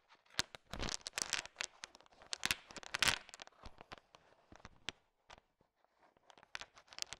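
A thin wooden stick stirs and taps a bowl filled with a heap of small, hard, sugar-shelled peanut M&Ms, mixing them. It produces quiet, bright, dry clicking and rattling as the candies knock together, in rapid crackly bursts with a brief lull near the end.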